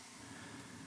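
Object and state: Nothing is struck.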